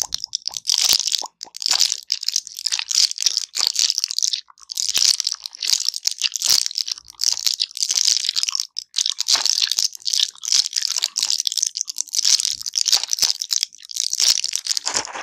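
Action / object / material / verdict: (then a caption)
scrape / plastic blister pack with foil backing / plastic, foil / none. A large clear plastic blister pack with foil backing, full of colorful gum pellets, is held up in the hands and pressed, crunched and scratched with long pink nails. Dense, bright crinkling and sharp crackling bursts come in quick clusters with brief pauses, and almost all of the energy sits in the high range with no low end.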